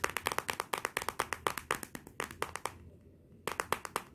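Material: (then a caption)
Glass. Fingertips and nails tap and rub quickly on the glossy glass back of a Motorola smartphone lying face down. A rapid, steady run of sharp, dry, bright clicks with almost no low end and no ring stops briefly for about half a second near the three-second mark, then resumes.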